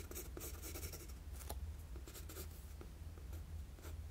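A wooden graphite pencil rubs and shades lines across a flat sheet of drawing paper. Quiet, steady scratchy strokes come in bright bursts over a low, continuous hum.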